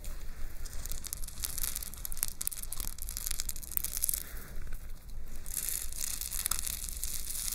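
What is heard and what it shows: A shoulder pauldron made of gold-tone metal chains hanging in a fringe under rhinestone-studded metal plates is held up close in one hand while long nails scratch and rustle through the chains. The result is a continuous, crinkly high-pitched jingling and scraping over a low, steady rumble.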